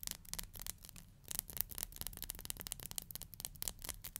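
Long nails scratch and strum along the teeth of a black plastic hair comb. The result is a quick, uneven series of dry, bright ticks and raspy scrapes over a faint low rumble, each click stopping almost instantly.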